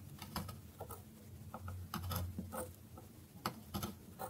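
A metal knife slices across the grooved face of a solid bar of dry soap held on a wooden board. Quick, dry, crisp cutting clicks and taps patter irregularly over a quiet low hum, each one short and fading almost at once.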